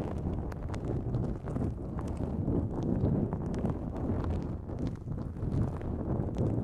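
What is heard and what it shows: Long nails scratch a pink-white, mesh-like nonwoven fabric drawstring pouch pulled over the microphone. The result is a steady, muffled, low-heavy rustling and scraping, with faint brighter ticks flickering through it.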